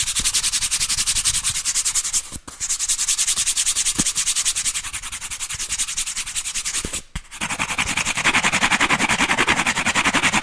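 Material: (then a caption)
Cardboard. Fingertips and nails rub and scratch the corrugated edge of a brown corrugated cardboard disc, held flat and edge-on close to the mic. The result is a dense, rapid, bright raspy scratching with a fast ridged texture. It pauses briefly twice, and in the last few seconds it turns fuller and louder in the midrange.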